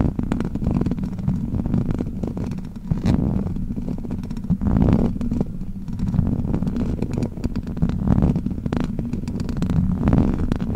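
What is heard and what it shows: Long black plastic witch-finger claws scratch the hollow metal mesh grille of a large silver microphone. The sound is a dense, low, rumbling scrape made of rapid, muffled scratching strokes. It stays steady and bass-heavy throughout, with almost no bright top end.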